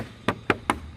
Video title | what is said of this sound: Cek Kualitas Body Honda PCX160 - #tmcblog | agak sedikit kenceng suaranya kalau Memang agak sedikit kopong gitu bertemu dengan daerah panel dari lampunya